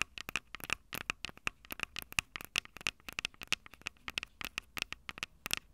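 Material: Metal, plastic.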